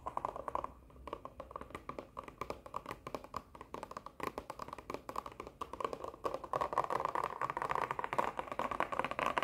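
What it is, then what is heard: Cardboard cosmetic box. Long nails rapidly tap and scratch a hollow printed cardboard sheet-mask box that is held in the hand and turned. Dry, hollow clicks and papery scrapes centre in the midrange and die away almost instantly. The tapping grows denser and louder toward the end.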